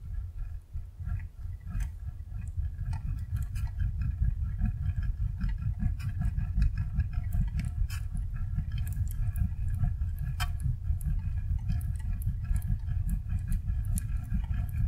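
Fingertips tap, poke and stir many small, soft, squishy red hydrogel water beads in a rectangular clear plastic tray lit from below, with two similar trays of green and yellow beads untouched beside it. The result is a steady, dense, low squelching rumble of wet beads shifting, dotted with faint, brief high clicks and ticks.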